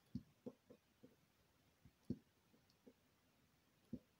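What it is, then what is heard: Bar soap being scraped. A solid white soap bar held by fingers with long green nails is scratched and scored with a needle tool, and small flakes come off its surface. Quiet, short, soft scraping ticks come at an uneven pace, mostly low and dull with little brightness, over a near-silent background.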